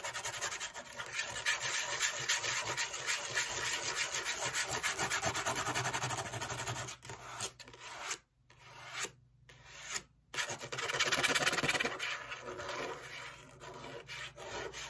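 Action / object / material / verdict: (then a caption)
scrape / corrugated cardboard piece / cardboard / none. Long acrylic fake nails scratch and rub along the surface and edge of a flat, thin, hollow-fluted piece of brown corrugated cardboard held in the hands. The result is a steady, bright, dry rasping made of quick, fairly regular strokes. It drops to a few short near-silent gaps around the middle before the scratching picks back up and fades slightly toward the end.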